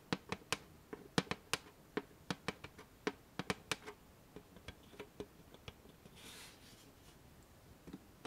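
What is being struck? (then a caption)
Flat metal chocolate tin. A flat, hollow, rectangular black-and-gold metal After Eight chocolate tin, held upright, is tapped with long painted fingernails. About nineteen quick, dry clicks with a light, hollow body land in an uneven rhythm and die away almost instantly. A brief soft, bright rustle comes near the end, then a few final taps.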